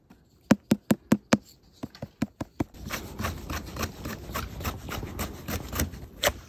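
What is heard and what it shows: A wild manzanita bolete mushroom (Leccinum manzanitae) found in Mendocino is tapped ten times in two quick sets of five, each giving a short, dull thud with almost no ring. A denser, continuous scratchy rustle with soft, irregular taps follows, ending on one slightly louder tap.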